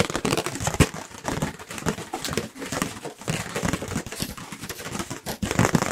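A white, round, thin and light disposable paper plate is held up near the microphones and tapped quickly with the fingertips. The result is a rapid, continuous stream of dry, papery taps with a crinkly edge and no ring, shifting in loudness as the fingers move across the plate.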